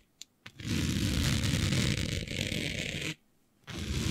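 Long natural-colored nails scratch across the weave of a flat sheet of dark, planet-printed fabric lying on a surface, using both hands. Two faint ticks are followed by a dense, steady scratching with a low rumbly texture and a bright hiss on top. It stops for about half a second, then starts again.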